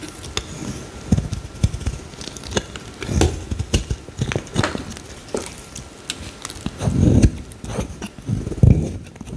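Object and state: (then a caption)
Bar soap being scraped and cut. A metal utility-knife blade scrapes and slices into a solid pale green bar of soap whose surface is scored with lines. The clip is a run of dull, low, crunchy scraping strokes mixed with short, sharp clicks and snaps as pieces cut away, with brief quiet gaps between strokes.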